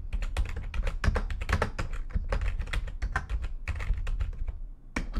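Long nails type fast on a full-size plastic backlit computer keyboard. Rapid, dense clicking taps run with only brief pauses, each key giving a short, dull thump with a bright, clacky edge.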